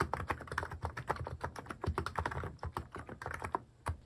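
Fingertips type on a cream mechanical keyboard fitted with sculpted plastic cat and paw keycaps, producing a rapid, steady run of short, dry clicks and clacks. Each keystroke has a low thud under a brighter click, and the sound dies away almost instantly.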